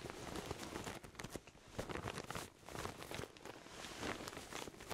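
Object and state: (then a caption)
Pillow in a plastic bag. A pillow in its clear plastic bag is hugged and squeezed while palms and fingertips rub against the wrapping. The plastic gives off dense, continuous crinkling with bright high detail. Soft low thumps rise and fall with each squeeze.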